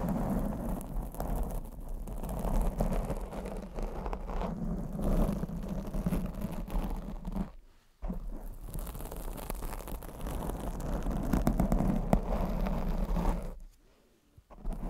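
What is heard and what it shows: Long acrylic nails scratch a black foam microphone windscreen, producing a continuous muffled, rumbling scrape concentrated in the low range. The scratching drops to near silence briefly around the 8-second mark and again near the end before resuming.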